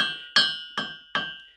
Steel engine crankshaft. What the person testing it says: check if it rings then that means it's good if you hear like a really dull sound somewhere then you kind of get a check for cracks